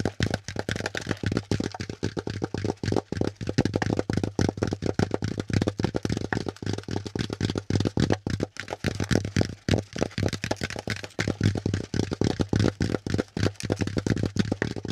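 Fingertips and nails scratch and tap the ridged side of a hollow, brown, pleated corrugated cardboard packaging insert. Rapid, dry, papery taps and scratches run continuously throughout, with a low, hollow thump beneath each contact and very short decay.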